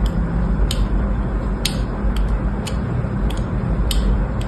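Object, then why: Bar of soap scratched with a thin metal blade. A thin metal blade scores and scratches the surface of a small solid orange bar of soap lying on a blue mat, with one hand holding the soap and the other the blade. Short, bright scraping ticks repeat at a steady pace over a low, steady rumble.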